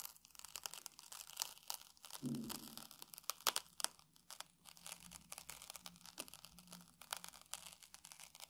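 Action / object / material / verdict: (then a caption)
scrape / puffed rice cake / puffed rice / none. A metal tool held in the fingers scratches and picks at the dry puffed grains of a round puffed rice cake resting on a table. Soft, bright crackling and crunchy, tearing scratches come in dense, irregular bursts, with a few sharper snaps around the middle. The sounds stop dead with no ring.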